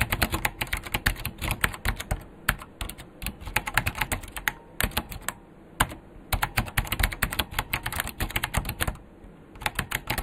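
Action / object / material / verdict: tap / plastic mechanical keyboard / plastic / none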